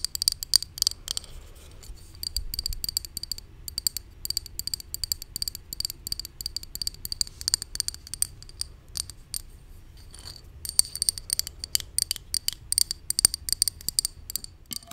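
Long nails tap and scratch the label and body of a hollow white plastic supplement bottle held in hand. Rapid, bright, dry clicks and scratchy ticks come in dense bursts, with a quieter stretch near the middle before the fast tapping picks up again.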